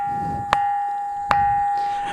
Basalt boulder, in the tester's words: ఎక్కడ తట్టినా గాని అద్భుతమైనటువంటి శబ్దం వస్తుంది. మనం వేరే రాయిని కొట్టినప్పుడు మనకు ఏ రకమైనటువంటి శబ్దం రాదు.